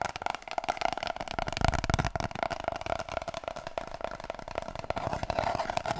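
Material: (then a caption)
Cardboard. Long nails tap rapidly and scratch on an empty, hollow cardboard kitchen roll tube, producing a quick, dense patter of short, dry clicks. Each tap carries a hollow resonance around 700 Hz, with soft scratching between taps. Toward the end, the tube is brought in close.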